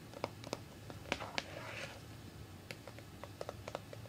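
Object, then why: Plastic cream jar. A small round Dove body cream jar with a white plastic lid, held in one hand and appearing closed and full, is tapped and scratched on its lid and sides with long red-painted fingernails. Quiet, irregular clicky taps with short, dry decay sound over a low background hum, with a brief soft scratching passage in the middle.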